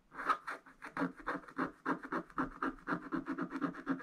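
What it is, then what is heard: Wax-coated scratch art paper. A wooden stylus scratches and rubs across a black wax-coated scratch art page in a spiral book to fill in areas. It makes a quiet, dry series of quick, slightly uneven scratchy strokes, about four per second, with a papery midrange rasp and a faint bright hiss.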